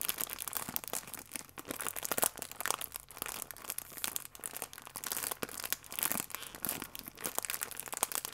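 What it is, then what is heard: Plastic film food wrapper. Fingertips and nails pinch and rub the crimped, sealed end of a full plastic-film croissant pack. The result is a steady stream of bright, dry crinkling and crackling with sharp little snaps, mostly in the high range with almost no low end. There is no pause and no ring after each crackle.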